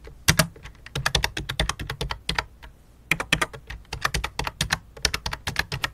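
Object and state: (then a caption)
Plastic membrane keyboard being typed on. Both hands type rapidly with fingertips and long dark-painted nails on a full-size white and light-blue plastic membrane keyboard with a hollow plastic case, lying flat on a black cloth. Quick bursts of bright, sharp key clicks with a low hollow thud under each tap fill the clip, with a brief lull near the middle. Each click dies away almost instantly.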